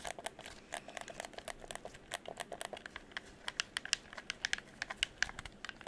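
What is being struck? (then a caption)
Plastic game controller buttons. Fingertips tap and click the buttons and triggers of a hollow red plastic game controller held beside the microphone. The result is a quick, irregular run of dry, bright plastic clicks, each dying away instantly, with almost no low end.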